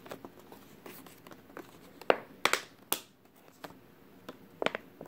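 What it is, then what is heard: Crinkled plastic water bottle. A clear, thin plastic water bottle with a label, partly crushed and mostly empty, is squeezed and crinkled with fingers. Soft, irregular crinkling rustles are broken by several sharp, bright crackles that stop almost instantly.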